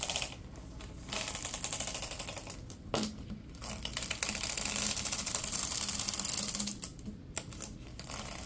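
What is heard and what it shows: A yellow, ribbed, hollow plastic pop tube is stretched and compressed by latex-gloved hands. Its ridges snap in rapid, uneven bursts of bright, dry clicks and crackles. Brief quieter gaps fall between the flurries.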